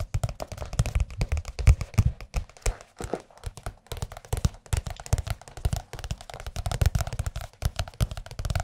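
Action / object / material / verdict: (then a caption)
tap / large softcover paper book / paper / none. Fingertips of both hands tap rapidly on the cover of a large, thin, blue, glossy softcover "Jazz Piano" music book held upright behind the microphones. The taps are quick, soft, low thuds with a dull, papery body and faint bright clicks, each dying away almost at once. They run in a dense, uneven patter, with brief pauses throughout.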